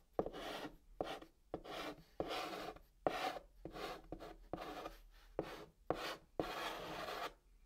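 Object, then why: Chalk stick on a cardboard box surface. A white chalk stick held in the fingers writes text on the flat top of a brown cardboard box. Short, dry scratching strokes come in separate bursts with brief pauses between them. The rasp is mostly midrange with a little bright hiss.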